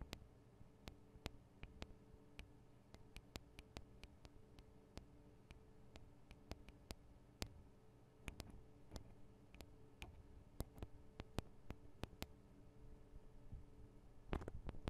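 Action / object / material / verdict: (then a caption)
tap / small metal microphone capsules on a handheld recorder / metal / none. Long acrylic nails on both hands tap on the two small cylindrical metal microphone capsules of a Tascam DR-40 recorder. Dozens of sharp, dry clicks land at an irregular pace with almost no ring. A faint low hum runs underneath, and a quick flurry of taps comes at the end.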